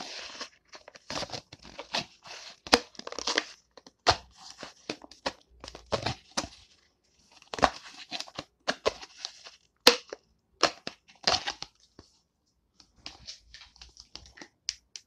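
A small, hollow, empty, thin transparent plastic cup is held in the hands and squeezed and tapped with long painted nails. Bursts of crushing, crinkling crackles and sharp clicks come in uneven clusters with brief silent gaps, bright and dry with almost no low end.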